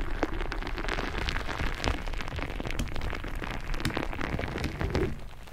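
Long nails tap and scratch across the surface of a soft, filled purple glitter rubber squishy ball while hands squeeze it close to the microphone. The result is a dense, steady stream of soft crackling taps and rustling scrapes with a heavy low-end rumble and a few brighter clicks, easing slightly quieter at the end.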